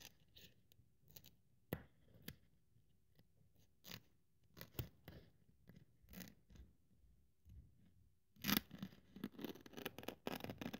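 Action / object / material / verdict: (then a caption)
scrape / thin polyethylene foam sheet cut with a blade / polyethylene foam / none. Long-nailed fingers hold a thin white polyethylene foam sheet while a metal craft-knife blade slits along its edge, producing short, dry scratching and cutting crackles with quiet pauses between them. The strokes grow louder, denser and more rapid in the last couple of seconds, with bright, crisp edges over a soft low rustle.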